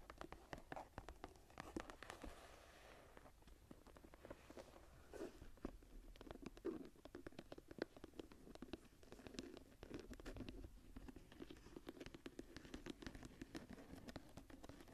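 Long nails scratch and tap the cover and spine edge of a smooth brown leather journal. The result is a quiet, steady run of dense, dry taps and soft scratching with no ring, centred in the low mids with a little high detail.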